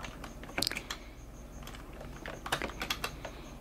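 A black plastic computer keyboard is tapped with the fingertips and long nails of a right hand in a short burst of key presses, with a paperback book lying untouched beside it. Sharp, dry, bright clicks sound in two loose clusters with very little ring, over a faint, steady background hiss.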